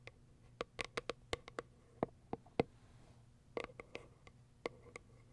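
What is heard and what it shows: Long acrylic nails tap and scratch the plastic window on top of a small white cardboard box. Seventeen short, dry clicks with a mid-pitched knock and a bright tick sound in irregular bursts, with a faint scratch in the middle. Each click stops almost instantly over a quiet, low hum.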